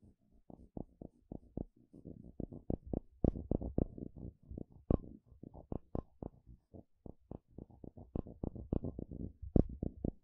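A curved wooden stick is scraped and flicked along the teeth of a solid blue plastic wide-tooth comb. It makes a steady run of quick, dry plastic clicks and ticks, some in rapid rattling bursts, with a few sharper, brighter snaps standing out. Each click dies almost instantly, and the sound stays quiet and low-toned throughout.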